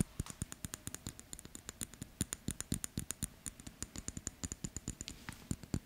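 Fingertips and nails tap and fiddle with a small gold-tone metal wristwatch, a gold-colored metal case with a dark dial and a black strap, held up close in the hands. About 44 quick, dry taps and clicks come in a steady patter, each with a soft low knock and a bright metallic tick that dies away almost at once.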